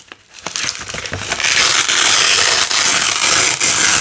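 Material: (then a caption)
Nylon. A narrow green nylon hook-and-loop strip is pulled off a red loop strip by fingers with long nails. A few soft crackly ticks build into a sustained, bright, crunchy ripping that grows loud and steady, with brief dips before the rip continues to the end.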